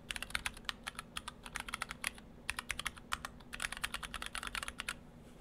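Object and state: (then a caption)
Mechanical keyboard with plastic keycaps. Fingertips of both hands type on an Orthodox Rev3.1 split ortholinear mechanical keyboard: two halves in clear acrylic cases, with white and cyan PBT dye-sub keycaps and stock Gateron Brown switches. About 35 short, bright, clacky keystrokes come in quick irregular bursts, with a brief lull near the middle. Each keystroke dies away almost instantly over a faint, steady low hum.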